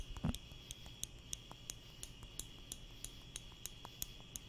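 A small wooden spring clothespin with a metal spring, held in the fingertips close in front of the microphone, is squeezed open and shut about 13 times, making short, dry, bright clicks with almost no ring. A brief low thump comes near the start, and a steady high whine around 3 kHz and a low rumble run underneath throughout.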